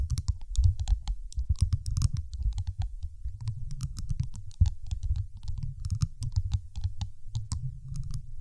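A large, solid, dark teal glass marble about the size of a fist rests on top of a microphone and is tapped with the long acrylic nails of both hands. Rapid, irregular taps run steadily throughout, heard mostly as deep, muffled thumps with faint bright clicks on top. Each tap dies away almost at once.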